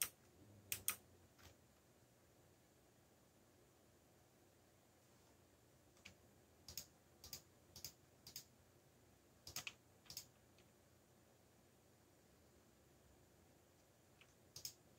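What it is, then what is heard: Plastic mechanical keyboard. Fingertips tap the keys of a backlit black plastic mechanical keyboard while typing, in a quiet setting. Short, sharp, bright clicks arrive in scattered bursts with long silent pauses between them, and each one stops almost instantly.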